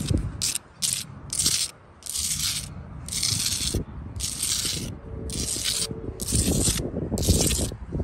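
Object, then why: Mortared sandstone block wall. Long blue-tipped nails scratch the faces of a solid mortared wall of rough sandstone blocks and run along the mortar joints. The result is a series of gritty, rasping strokes with bright high hiss bursts over a low rumble.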